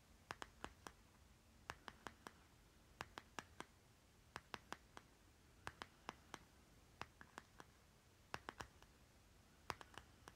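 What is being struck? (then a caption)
Small plastic lip balm jar. A small round plastic lip butter jar with a green plastic lid is held on its side while a short nail taps and scratches its stickered bottom. About 32 sharp, dry clicks come in quick clusters, each dying almost instantly, with a bright edge and faint scratchy texture over a quiet, low background hiss.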